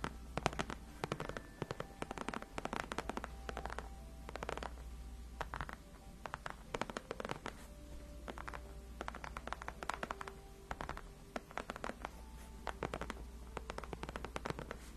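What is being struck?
Padded faux leather gaming chair backrest.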